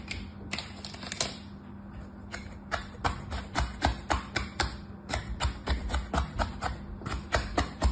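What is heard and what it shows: A red plastic knife, held in a hand with orange nails, cuts and scrapes lines through packed beige kinetic sand stamped with round patterns in a mint-green plastic tray. A quick, uneven run of short, crisp crunching clicks with bright edges stands out over a faint, steady low hum.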